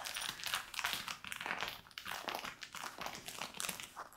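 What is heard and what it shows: Fingertips and nails scratch and rub light-wash denim shorts being worn, near the pocket and waistband. The result is a continuous run of bright, crisp scratching and rustling bursts with almost no low end.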